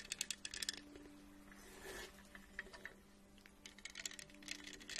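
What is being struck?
Plastic tumbler cup with studs.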